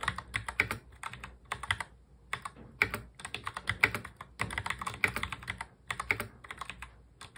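Fingertips of both hands touch-type fast on a full-size black plastic mechanical keyboard. The result is a rapid, uneven stream of short, bright plastic clacks with brief pauses between bursts and almost no ring after each keystroke.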